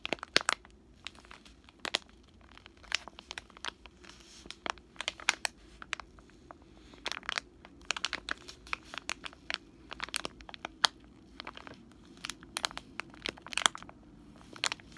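A full, soft plastic wet wipes pack is crinkled and scratched with fingertips and short nails. It produces a steady run of sharp, bright crackles and crinkles with very short decay over a faint low hum.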